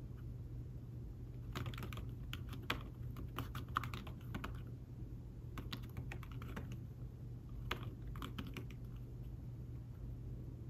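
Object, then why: Thin fabric-covered folio keyboard. Fingertips and short nails tap away on a thin folio keyboard with fabric-covered keys, attached to a tablet resting on a table. The typing comes in bursts of soft, muffled, dull clicks, with short pauses between runs. A steady low hum sits underneath throughout.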